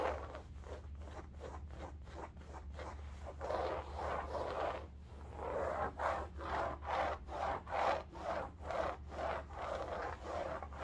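Long nails scratch and rub a cylindrical bolster pillow covered in striped woven fabric, held at an angle. The result is a rhythmic series of soft, raspy strokes, roughly two per second, that grow fuller and louder in the second half. A steady low hum runs underneath throughout.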